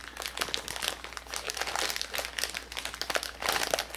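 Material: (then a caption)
Plastic. A hand-sized clear plastic zip-top bag, about half full of small silver metallic beads, is held in both hands and squeezed, crinkled and shaken with the fingertips. It makes a steady stream of bright, crisp plastic crinkling mixed with quick rattling and ticking of the beads, swelling louder in bursts over a faint low hum.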